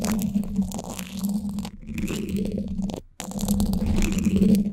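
Flat emery-board nail files held in both hands are scraped across the top of the woven steel mesh hollow-dome grille of a Blue Yeti microphone. The result is a dense, continuous scratching with a strong low, droning body around 200 Hz and faint high hiss, broken by a short pause just after three seconds before the scraping resumes.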